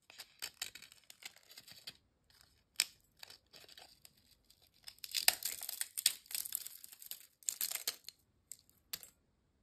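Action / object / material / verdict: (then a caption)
scrape / ridged potato chip / fried potato / none. A single thin, dry, crisp ridged potato chip is held over a glass bowl and bent, snapped and crumbled by fingertips. Sharp, bright crackles and brittle snaps come in quick bursts separated by brief silences, growing densest and loudest in the second half before trailing off into a few last crumbles.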